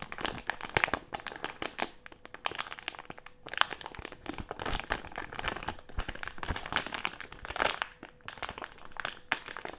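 A medium printed plastic-film Haribo gummy candy bag with gummies inside is squeezed and crinkled between the fingers of both hands. The result is a dense, continuous stream of sharp, bright crinkles and crackles, swelling into louder bursts and easing into brief quieter gaps.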